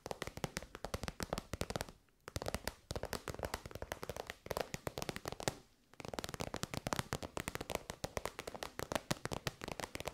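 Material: Faux leather.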